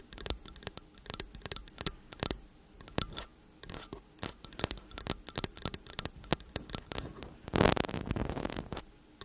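Long acrylic nails tap and scratch repeatedly on the metal casings of two slim cylindrical condenser microphones. Crisp, bright clicks come in quick, irregular clusters, each dying away almost at once. Near the end a louder, denser burst of scraping rises before the light tapping returns.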